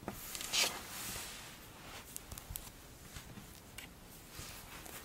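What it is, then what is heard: Kinetic sand being squeezed and crumbled. A large pile of pink kinetic sand is squeezed and lifted in fistfuls by long-nailed hands, then crumbles and falls back onto the pile. A soft, bright, crunchy hiss runs throughout, with a louder gritty burst early on and scattered light ticks and patters afterward.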